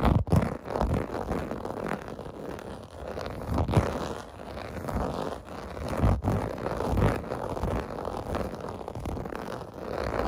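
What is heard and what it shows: Fingertips and nails scratch across the rows of small raised bubble bumps on a large, flat, clear-blue plastic or vinyl bath mat lying on carpet. The result is a continuous, muffled, low-heavy rasping and rubbing that swells and eases in repeated strokes, with little bright edge.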